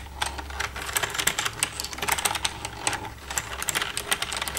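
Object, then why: Plastic computer keyboard. Long red-painted nails tap and type with both hands across the keys of a black plastic desktop computer keyboard with a hollow casing. The result is a steady stream of quick, bright clicks and clacks that die away almost instantly, over a faint low hum.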